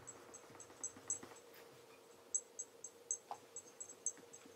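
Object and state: Leather loafer being polished.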